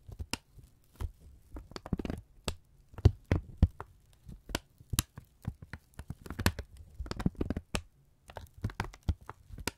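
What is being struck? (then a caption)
Kraft paper strip. A thin brown kraft paper strip is held in both hands and repeatedly folded and squeezed with the fingertips, crinkling. Irregular, close, dry crackles and crisp snaps come in quick clusters, each with a soft low thump and a brief bright edge that dies away at once. Faint quiet gaps separate the bursts.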